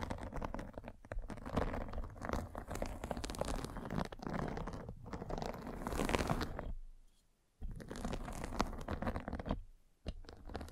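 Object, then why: Fabric mesh net over a microphone, scraped with a spiked roller. A derma roller with metal spikes is rolled over a fine white fabric mesh net covering a microphone, producing dense, continuous scratching and crackling with a low rumbling undertone. The rolling pauses into near silence around seven seconds, resumes, then briefly stops again just after ten seconds.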